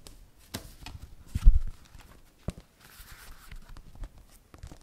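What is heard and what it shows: A small spiral notebook with a wire binding and a cardboard cover is held up, and long nails tap and scratch across the cover and the spiral. Soft, dull taps and scrapes come in scattered bursts, with the loudest rustle in the middle and mostly low, muffled energy.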